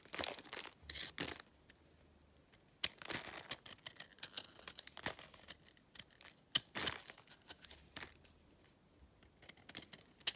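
A yellow utility knife shaves crumbly layers off the edge of a solid, pale, dry clay or chalk block. The clip is full of quiet, dry, bright scraping and crumbling bursts, with a few sharper crisp cuts standing out. Flakes break away with little ring.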